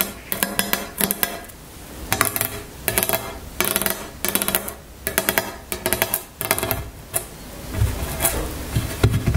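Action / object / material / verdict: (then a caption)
tap / wooden tabletop / wood / none. Long nails tap a solid, dark, flat wooden tabletop in rapid clustered bursts separated by brief pauses. Each tap is a short, dry click with a low knock and almost no ring.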